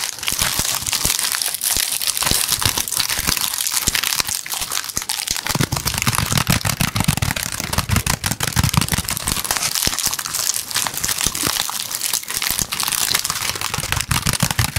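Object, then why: Woven basket. Fingers tap and scratch rapidly on the woven sides of a medium pink woven basket with an orange handle and a yellow tassel, hollow and empty. The result is a steady, dense stream of dry, crinkly crackles and short, bright taps that stop instantly, with some low thumps underneath.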